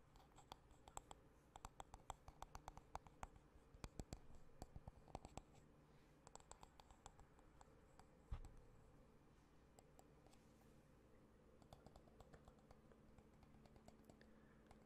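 Fingertips and nails tap and scratch the solid wooden back of a hand-sized wooden paddle hairbrush, then run across its bristles. Quiet, dry clicks and scratches are heard, dense through the first half with one sharper knock near 8 seconds. A softer brushing texture follows.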